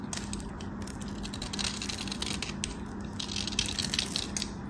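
Half of a small solid white soap bar, held in the fingertips, is scraped and sliced with a metal craft knife blade, building up powdery shavings on the blade. The result is a continuous dry, crackly scraping that is mostly bright and hissy, over a faint steady low hum.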